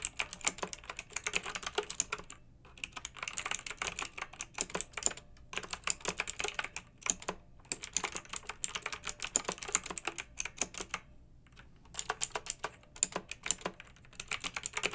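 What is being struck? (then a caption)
Plastic mechanical keyboard. Long fingernails type continuously on a pink backlit plastic mechanical keyboard with round keycaps, producing rapid, bright, clacky keystrokes that die away almost instantly. The typing comes in bursts separated by brief pauses, with most of the sound sitting high and very little low end.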